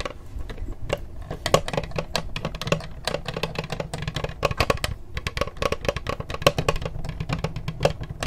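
Long acrylic nails rapidly tap and scratch the textured plastic lid of a closed black laptop with a small sticker, held upright near the mic. The result is a dense stream of short, dry clicks with scraping between them, each tap dying away almost instantly. The clicks carry a hollow tone around 570 Hz over a full low body, with bright ticks on top.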